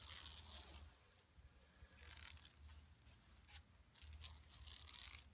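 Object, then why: Woven plastic mesh shopping bag. Long nails scratch along the lower edge of a flat, empty yellow woven plastic mesh tote bag lying on carpet. The result is bursts of dry, bright, crackling scratches with a soft low rumble underneath, louder at the start and again toward the end.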